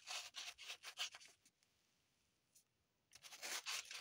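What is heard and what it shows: Long pointed nails dig and scratch into an unwrapped green floral foam brick, with crumbs falling onto the table. Quick bursts of bright, dry scratching and crunching come in rapid strokes, then stop for about a second and a half of near silence before the scratching starts again.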